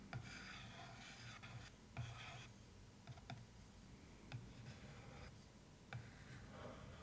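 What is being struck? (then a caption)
Cardboard case lid. A wooden stick and long nails scratch and rub across the floral-printed cardboard lid of a cardboard suitcase box, making a steady dry rasping. Several sharper knocks stand out over a low, hollow rumble.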